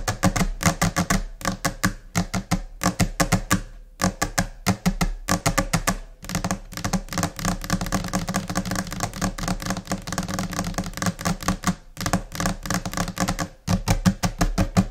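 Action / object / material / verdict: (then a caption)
tap / laminate desk surface tapped with fingernails / laminate / none. Long nails and finger pads tap quickly and in scattered, chaotic rhythms on a flat, solid white laminate desk surface. The taps are crisp, dry clicks with a low, woody thump underneath and almost no ring. Bursts of fast tapping are broken by brief pauses, with a dense, continuous flurry in the middle.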